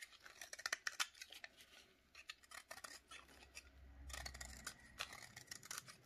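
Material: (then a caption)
Soap. A snap-off utility knife blade scrapes repeatedly along the edge of a solid rectangular bar of dry yellow soap held in a black-gloved hand, shaving off curls. Each stroke makes a short, dry, bright scratching crackle that stops almost instantly, in quick bursts separated by brief pauses. A low rumble sits under the scraping near the middle.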